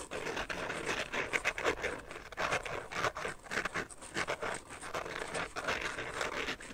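Fingernails scratch and tap along the rim and sides of an empty carbon-fiber-pattern phone case held edge-on. The result is a steady run of quick, dry scratches and light clicks, mostly midrange and bright with little low end. Each sound dies almost instantly.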